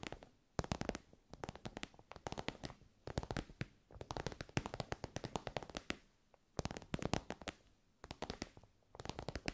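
Long nails tap rapidly on an elongated, soft pencil case covered in shiny pink synthetic fabric. Bursts of quick, dry, crisp clicks with a bright edge come in clusters separated by short quiet pauses, each tap dying away almost instantly.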